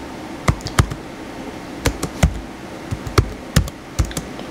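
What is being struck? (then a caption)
Plastic laptop keyboard. Fingertips type on the white plastic keys of a small blue plastic HP laptop. Irregular clusters of short, dull clicks with a low thud to each press sit over a steady background hiss, and every keystroke dies away almost at once.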